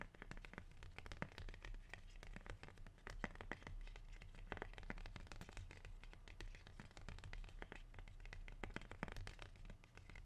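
A large, dark green, waxy rubber plant leaf is rolled and squeezed in the hand, then scratched and crinkled with fingers and nails. The result is a steady, dense stream of dry crackles and sharp little clicks over a low, muffled rumble, with no pauses.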